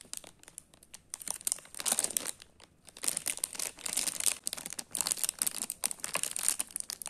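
Fingertips crinkle a small, hollow, sealed Sealleys Choco Ball snack bag of metallized plastic foil, full of chocolate balls, then turn it over and start tearing at the top corner seal. Other unopened packets lie still nearby. Dense, bright, crisp crackles and crunches come in quick bursts with very little low end and no ring.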